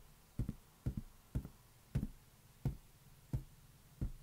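A large inflated green latex balloon, hollow and air-filled, is held in one hand and tapped slowly with the fingertips. Ten soft, low, dull thumps sound, some in quick pairs, each dying away almost at once, with a faint hiss between them.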